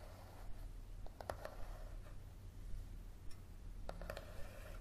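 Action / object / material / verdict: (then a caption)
tap / paperback book with card cover / card / none. Fingertips and nails tap and scratch the card cover of a thick yellow paperback book lying flat and solid on a table. Nine short, dry taps with a hollow mid-pitched knock stand out over a quiet scratching texture and a steady low hum. The taps are irregular and die away almost immediately.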